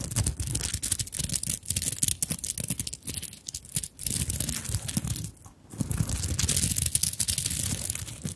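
Long nails scratch the sequin-covered top of a small fabric handbag covered in sequins and beads. Dense, bright scratching and rustling comes in quick strokes with a low rumble underneath, pausing briefly near the three-and-a-half and five-and-a-half second marks before continuing.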